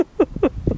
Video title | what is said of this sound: Ringing Rocks County Park | it sounds like i'm hitting a rock